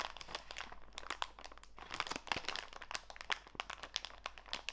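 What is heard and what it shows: A small clear plastic bag full of walnut pieces, with a green label, is squeezed in both hands to crinkle the plastic. The result is a rapid run of sharp, bright crackles and crunches that die away almost instantly, over a faint low hum.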